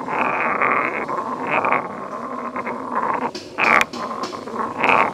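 A solid stone pestle is lifted and pounded into a medium grey carved stone mortar, then ground around the hollow bowl by hand. A steady gritty scraping with a ringing midrange tone fills the clip, broken by a sharp, bright knock near the end.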